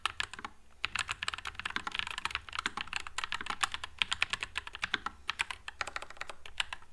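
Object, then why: Low-profile mechanical keyboard with plastic keycaps. A white low-profile NuPhy Air96 mechanical keyboard with Wisteria switches and plastic keycaps is typed on continuously with the fingertips. It gives a rapid, steady stream of short, bright clacks with almost no ring and little low end.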